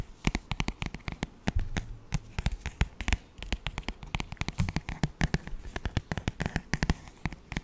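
Fingertips tap and scratch the front cover of a glossy paperback children's songbook held near the mic. A fast, irregular run of short, dry taps, each with a dull low thump and a bright clicky edge, mixes with brief papery scratches. Every sound dies away almost instantly.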